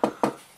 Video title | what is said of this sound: Unboxing & Setup: Microsoft Xbox Series X 1TB | you knock on this, sounds solid